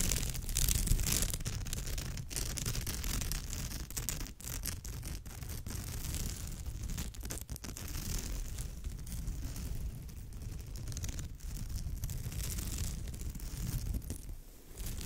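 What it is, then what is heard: Woven straw bag being scratched. Long nails scratch across, and fingertips rub, the surface of a woven straw or raffia bag with an orange and grey knit-like weave. The result is a steady, dense, irregular scratching texture with a heavy low rumble and a bright, airy rasp over the top.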